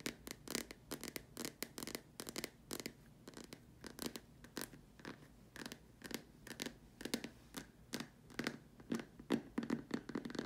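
Long dark nails tap and scratch around the top and sides of a large, hollow white plastic dome lamp shade. Quick, irregular bursts of bright clicky taps mix with raspy scratching strokes and a faint hollow resonance near 234 Hz. Each tap dies away almost at once.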